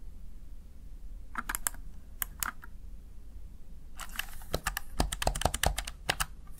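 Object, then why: Plastic gaming keypad keys. Keys on a small backlit plastic Razer Tartarus Chroma gaming keypad are pressed by fingertips and nails, giving sharp, dry plastic clicks with bright tips over a faint low hum. A few scattered taps come first, then a quicker, denser run of clacks in the second half.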